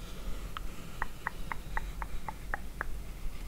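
Long acrylic nails tap and scratch the front of a narrow, hollow, printed cardboard product box held in both hands. A steady series of short, bright, dry clicks in a fairly even rhythm sounds over a low background rumble.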